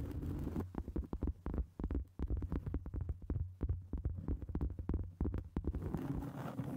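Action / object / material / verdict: tap / round cork board / cork / none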